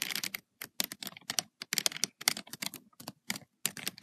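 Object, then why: Paper notebook page tapped with acrylic nails. Long white and red acrylic nails tap rapidly on the paper page of an open lined notebook with black spiral binding. The result is quick bursts of crisp, bright clicks with almost no low end, each tap dying out instantly, separated by brief pauses.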